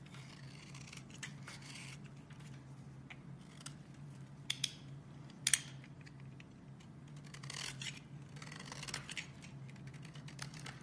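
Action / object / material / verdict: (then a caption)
scrape / bar of soap scraped with a metal blade / soap / none. A metal box-cutter blade scrapes shavings off the edge of a solid, oval green bar of soap held in one hand with long red-painted nails, letting them fall onto a white surface. Soft, bright, crumbly scraping rises and falls over a steady low hum, with sharper clicks standing out near the middle of the clip.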